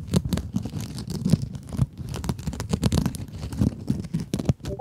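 Long acrylic nails scratch a small, soft, solid pink scrub sponge with sparkly woven mesh. The clip is a steady run of quick, rough scratching strokes with a dull, low-weighted texture and very little brightness. Each stroke cuts off almost instantly.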